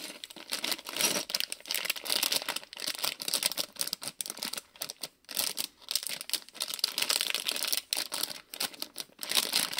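Fingers crinkle and squeeze a small printed plastic-film Lego City polybag with bricks inside. The result is a dense, bright, continuous crinkling made of rapid, irregular crackles with almost no low end. Brief quiet gaps break up the crackling.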